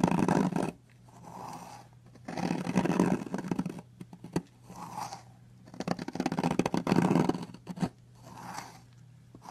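A metal knife blade cuts and scrapes flakes off the carved edge of a long, solid blue soap bar. Loud, grainy scraping strokes alternate with softer, muffled passes, with crisp little crackles between them. A faint, steady low hum runs underneath.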